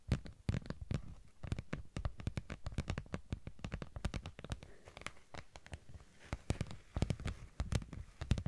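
A thin, flexible holographic vinyl sheet about A5 in size, with a sparkly raised texture, is held up in one hand and scratched with long acrylic nails. A rapid, uneven stream of dry, scratchy crackles and clicks follows, each one short with a soft low thump underneath and a bright edge on top.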